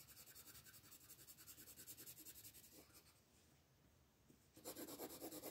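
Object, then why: Wooden colored pencil on a thin paper page. A wooden colored pencil is rubbed back and forth in short strokes on a thin paper coloring book page resting on a table, with the other hand resting on the page. Soft, steady, scratchy rasping strokes with a bright papery hiss repeat at a quick rhythm, fade to a quieter, smoother stretch in the middle, then return louder and brighter at the end.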